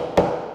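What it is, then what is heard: Hollow torsion box table top. A single tap on the top of a hollow torsion box assembly table made of wood sheet goods gives a hollow, echoing knock with a resonant midrange tone that rings for a moment. Because the top is hollow, it flexes and vibrates under blows, which makes chisel hits on it ineffective, unlike a solid 4-inch-thick workbench that absorbs them.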